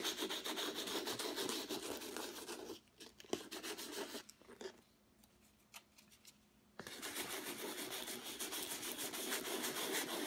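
A small folded piece of sandpaper held in the fingertips is rubbed back and forth across the middle of a flat painted canvas with a rough acrylic texture. It makes a steady, rhythmic, bright scratchy rasp of about three strokes per second. The sanding pauses for roughly four seconds midway, leaving only a few faint touches, then resumes at the same pace.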